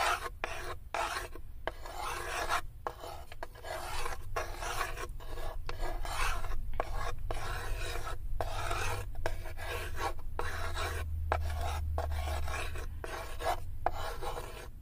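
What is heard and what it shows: Long acrylic nails scratch back and forth across the inner wall and floor of a light, unfinished wooden serving tray that sits open and empty. Each stroke gives a dry, rasping, filing-like scrape across the mids, broken by brief pauses as the nails change direction. A steady low rumble runs underneath throughout.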